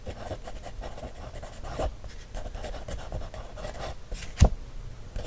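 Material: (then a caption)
Paper. A thin wooden stick traces and scratches along the printed lines of an open paper coloring book page held flat. It makes a soft, steady scratching and rubbing with low, muffled body and little brightness. A sharper single tap stands out near the end.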